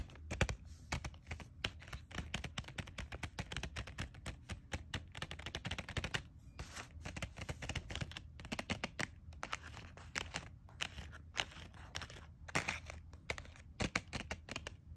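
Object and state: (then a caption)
Plastic pen package. Long nails and fingertips rapidly tap and scratch a set of colored gel pens in a thin clear plastic package, giving a dense stream of short, dry crinkly clicks and scrapes. A steady low hum runs underneath the whole time.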